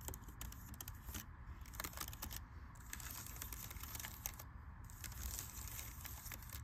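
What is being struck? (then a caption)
Laptop keyboard, plastic keys in aluminium body. Fingertips and long red-painted nails type and tap across the black plastic keys of a silver aluminum MacBook-style laptop resting on a library table. A steady run of quick, dry clicks and bright taps sits over a low background rumble, each tap dying away almost at once.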